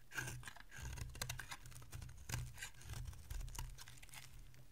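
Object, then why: Bar of soap cut with a blade. A solid oval bar of dry green soap held in the hand is carved with a metal utility blade. The result is a quiet, steady run of crisp scraping and flaking crackles over a low, soft rumble, with a few louder bright shaving strokes standing out.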